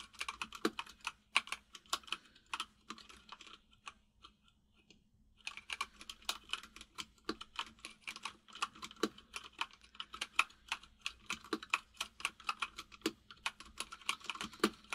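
Fingertips of both hands type on a full-size mechanical keyboard with white and grey plastic keycaps and a hollow case. A steady run of short, bright, clacky key taps centred around 2.4 kHz, with a faint low hum beneath. The taps pause briefly around the fourth and fifth seconds before the rapid typing resumes.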